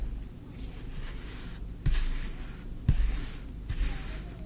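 A small wooden spoon scoops and scrapes green kinetic sand in a tray. Three soft, muffled thumps stand out over a continuous low, grainy scraping with a faint high hiss.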